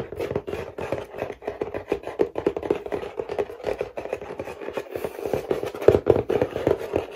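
Fingernails and fingertips scratch and rub across a medium printed cardboard toy box with a clear plastic window, holding toys and lying on a lap. The result is a steady stream of quick, dry scratching and rubbing bursts, centered in the low midrange around 400 Hz, that stop dead with no ring.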